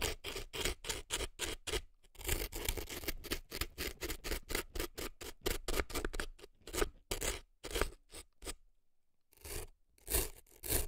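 An earpick scrapes hard at dry floral foam packed into a right silicone elf ear, with foam crumbs visible at the opening. Quick, dry, crunchy scratching strokes come in rapid bursts with brief pauses and a longer silence near the end before a few final scrapes.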